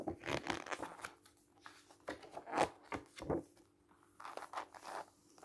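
Fingers rub the surface of a thick book's glossy coated paper pages as it lies open on a table, then flip the pages over. Soft, dry papery swishes and crinkling rustles come in quiet bursts, with a few sharper page flips standing out between brief near-silent gaps.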